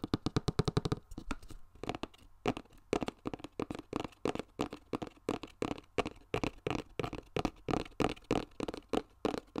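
Fingertips and nails tap and scratch a flat, hollow yellow cardboard box with a barcode sticker, held up close. A fast flurry of taps opens the clip, then a steady run of separate, dry taps with a hollow, low thump and short scratchy edges that stop almost instantly.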